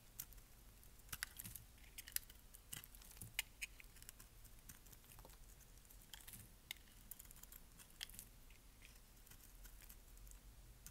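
A metal blade scrapes and cuts flakes off the faceted surface of a palm-sized, solid lilac bar of dry soap held in the hand. Quiet, steady scraping is broken by many brief, bright, crisp snaps and crackles as the flakes break away, each dying out almost instantly.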